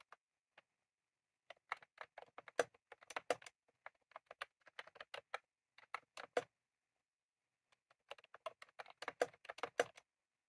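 Rapid fingertip typing on a full-size retro-style plastic mechanical keyboard with round cream plastic keycaps and a plastic case, sitting on a desk, produces quiet, dry clicks with a midrange body and bright tops. Two bursts of many fast keystrokes are separated by a brief pause near the 7-second mark.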